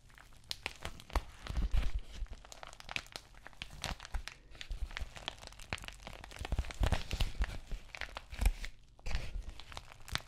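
Long nails scratch and tap across the textured plastic face of an empty white padded bubble mailer envelope. The result is a dense run of dry crinkling, scratching and tearing-like ticks with soft low thumps underneath, swelling and easing in short bursts with brief quiet gaps.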